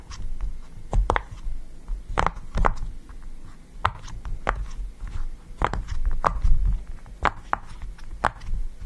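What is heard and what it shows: Fingertips press and pop the hollow bubbles of a yellow round silicone push-pop fidget toy resting on a table. Short, soft, irregularly spaced pops with brief bright clicks sit over a low, dull thud-heavy background.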